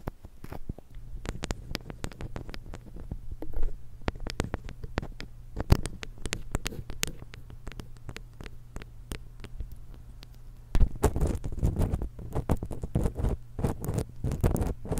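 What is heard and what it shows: Long acrylic nails on both hands scratch and tap the two crossed metal capsules of a small silver X/Y stereo microphone with a plastic body. Dense, close crackling taps and scrapes ride over a steady low hum, growing louder and busier in the last few seconds.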